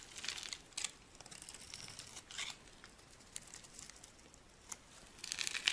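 A metal blade carves a solid green oval bar of dry soap, held in the palm, into stick-like shavings. Quiet, bright, crisp scraping and crinkling comes in short bursts with brief pauses between them, rising to a sharper, denser flurry at the end. There is almost no low end.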